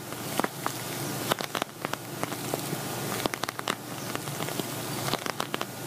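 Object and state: Glitter vinyl cosmetic bag.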